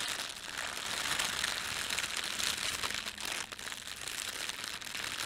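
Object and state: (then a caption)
Plastic bread bag crinkling. Fingertips scrunch and rub the film of a thin, red printed plastic bread bag lying flat. The result is a dense, continuous crinkle, bright and hissy with almost no low end, holding a steady level throughout.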